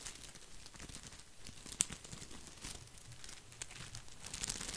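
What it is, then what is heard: Artificial plastic boxwood ball. Fingertips scratch and brush over the leaves of a green artificial plastic boxwood topiary ball. The result is a soft, continuous crinkling rustle, bright and airy, with a few sharper ticks standing out, the loudest near the two-second mark and toward the end.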